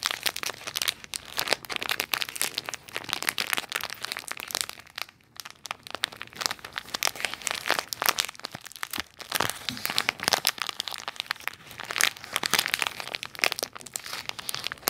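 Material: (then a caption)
Plastic. A small clear plastic toy bag with a "nutty toys" label is held close and crinkled and rubbed between fingertips and nails. It makes a steady, dense stream of bright, sharp crackles and crinkles with almost no low end and a brief lull around five seconds.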